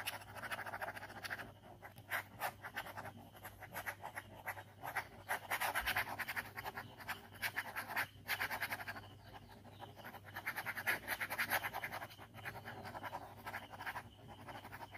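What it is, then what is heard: Pen scribbling on paper. A ballpoint pen scratches quick scribbles across a white paper sketchbook page bearing an ink skull drawing. Dry, raspy strokes come in fast, irregular bursts with a bright hiss on top and a faint low hum underneath.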